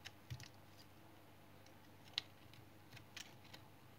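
A blue-handled knife shaves thin layers off the face of a palm-sized, solid light brown household soap bar held in the hand. Quiet, irregular, crisp scrape-cuts sound as short bright clicks, about eight in all, each stopping instantly with no ring over a faint steady background.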